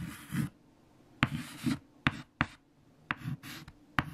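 White chalk held in the fingertips writes equations on a large, flat black chalkboard. Soft, bright scratching strokes are broken up by five sharp taps of the chalk against the board, over a low, steady background rumble.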